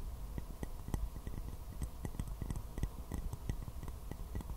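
A small white porcelain teacup with a floral print, hollow and empty, is held upside down and tapped with fingernails. The result is a quiet, irregular run of short, dry clicks, each fading almost at once with only a faint bright ping, over a soft low rumble.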